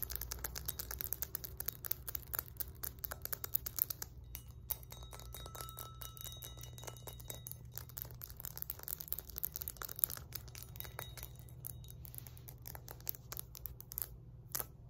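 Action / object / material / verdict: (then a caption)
tap / cast iron kettlebell / cast iron / none. Long nails tap and scratch the embossed face and rounded body of a solid 20 lb cast iron kettlebell held between the knees. Rapid, quiet, dry clicks and scratchy rasps run throughout over a steady low hum, with faint thin ringing tones briefly in the middle.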